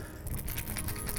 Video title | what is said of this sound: A Hard Knock Life - FULL EPISODE | that's how it sounds it's a nice rattle